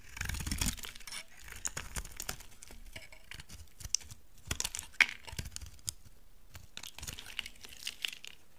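A solid, dry brown laundry soap bar is shaved with a utility knife into thick curls. Bright, crisp scraping and tearing cuts come in quick, irregular strokes, with a few sharper dry snaps and little ring after each.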